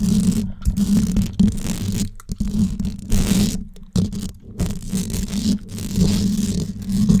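Long yellow nails scratch and tap the hollow domed steel mesh grille of a large gold condenser microphone. A steady stream of rough, scratchy rustling rides on a strong low, booming resonance. It breaks into short pauses and quick taps, with a bright hiss that comes and goes.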